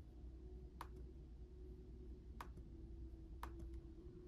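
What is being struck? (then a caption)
Plastic laptop keyboard keys. Fingertips tap the plastic keys of a black laptop keyboard with RGB backlighting, giving three sparse, quiet clicks with short bright ticks over a steady low hum. Each click is short and dry, with faint secondary ticks just after.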